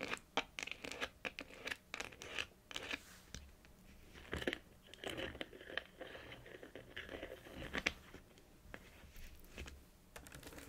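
Long acrylic nails tap and trace letters on a small, hollow, light blue printed paperboard packaging box with a white top, held upright on a knit blanket. Many quick, dry, bright taps alternate with softer, scratchy scraping strokes. The sound is quiet, with little low end and almost no ring after each hit.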